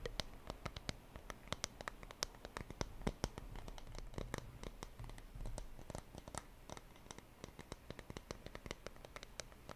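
Fingers tap rapidly and lightly on a wooden surface, giving a steady stream of dry, short clicks with almost no ring. The taps come in quick irregular bursts over a low, quiet background hum.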